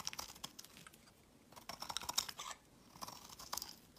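A utility knife blade shaves a solid, translucent, olive green rectangular soap bar into crumbly curls. Quiet, bright, crisp scraping and crackling comes in bursts of rapid little ticks, like fine crumbling, with short near-silent pauses between the strokes. There is almost no low-end body and no ringing after each scrape.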